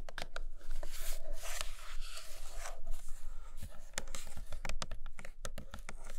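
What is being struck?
Flat printed cardboard box.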